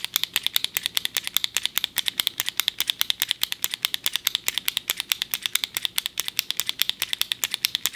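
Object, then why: Plastic retractable ballpoint pen. A small, slim, hollow black plastic retractable ballpoint pen is held upright in a fist while a thumb repeatedly presses its top button to work the click mechanism. Quick, sharp, bright clicks come in a fast, slightly uneven stream, about 69 in all, each one short and dry with a high ring and almost no low end.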